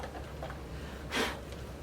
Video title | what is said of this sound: Trimming Your First Cylinder in Pottery - A Beginner's Guide! | That does sound a little bit more shallow now.